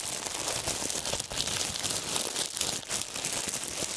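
A loose bundle of thin, clear, wrinkled plastic film is crushed and crinkled between fingertips and gloved hands. The result is a dense, continuous crackling crinkle, bright and hissy with almost no low end, holding a steady level with only brief dips.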